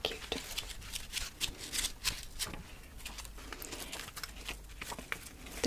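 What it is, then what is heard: Paper book-page pumpkin. The page edges of a hollow, layered paper pumpkin folded from book pages, with a twig stem and tied with twine, are crinkled and flicked with long nails. The result is a rapid, uneven run of dry, bright crackles and short papery ticks over a soft rustle, each click dying away almost at once.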